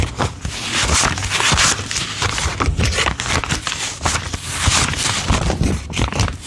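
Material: Paper.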